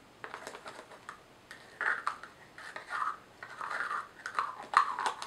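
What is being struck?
Small plastic jar with screw lid.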